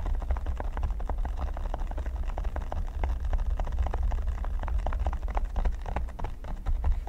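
Fingernails scratch and fingertips tap across a flat, solid red silicone pyramid mat. The result is a dense run of quick, soft, muffled taps over a steady low rumble, with little brightness.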